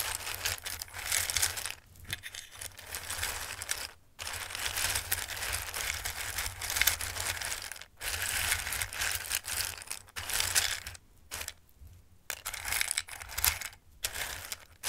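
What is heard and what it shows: A flat hand slides and rubs across the top of a full bowl of raw dried pasta shapes, making a dense, bright, ratchety clatter and rustle. The sound comes in sustained passes separated by brief pauses, with a faint steady low hum underneath.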